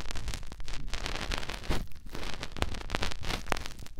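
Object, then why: Silicone ear of a binaural microphone rubbed by fingertips. Fingertips rub the soft silicone outer ear of a white binaural microphone, making close, continuous rustling and crackling scratches. A deep, muffled rumble dominates beneath brief bright crackles that come and go throughout.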